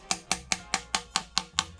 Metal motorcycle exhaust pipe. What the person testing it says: Ça sonne pas très creux.